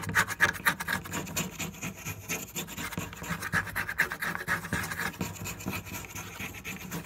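Fingernails scratch and tap across a flat, solid wooden board covered in marker drawings. Quick, irregular dry taps and raspy scratches sit over a steady low hum, with brief sharp clicks near 1.7 kHz and a bright rasping edge that dies away almost instantly.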